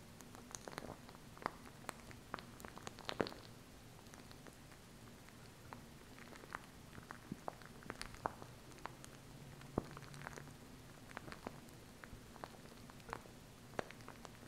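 A small plastic glue stick is held close in front of the mic while long acrylic nails tap and scratch its tube and cap. Quiet, sharp, dry clicks and light scratches land at irregular intervals over a steady low hum, with almost no ring after each tap.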